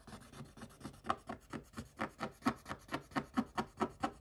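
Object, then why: Scratch-off coated paper page scraped with a wooden stick. Quick, rhythmic dry scratches, short broadband strokes with no ring, from a wooden stick scraping coated paper.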